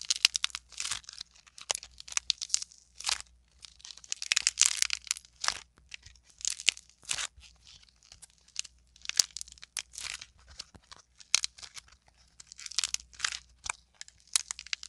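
A solid, fist-sized lump of pink modeling clay is squeezed and pulled apart by both hands. It gives repeated bursts of bright, dry crackling and tearing crunches, separated by short quiet gaps. There is almost no low end and no ring after each crack.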